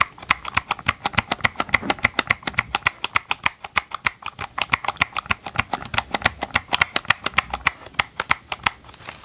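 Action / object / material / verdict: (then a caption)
tap / plastic chainsaw housing / plastic / none. Gloved fingertips tap and scratch the hollow green and gray plastic housing of a chainsaw held close to the mic. The result is a fast, uneven run of dozens of dry, bright clicks, about three or four a second, each dying instantly with no ring, over a faint scratchy rustle.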